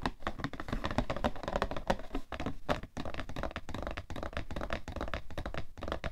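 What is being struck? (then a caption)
Cardboard tissue box. Fingernails scratch and tap across the printed top and along the edge of a cardboard tissue box. The result is a rapid, uneven run of short, dry, hollow taps over a soft scratching rustle, with a low-heavy, muffled tone and no ring after each hit.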